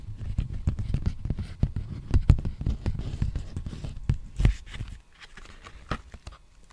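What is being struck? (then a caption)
Empty plastic bubble mailer envelope. Fingertips tap and scratch the face and edge of a large, empty black poly bubble mailer envelope as it is turned at different angles. Rapid, dull, low thumps with soft rustling fill the first five seconds, then give way to a few quieter, sparser taps.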